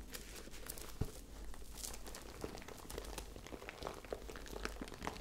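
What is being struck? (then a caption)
Fabric zip pouch with sequins. A small, hollow, handheld lilac fabric zip pouch with a sequin heart and lettering is held up and scratched and rubbed with long dark-painted nails. The result is a soft, continuous crinkly scratching full of faint bright ticks over a low rumble, with one sharper tap about a second in.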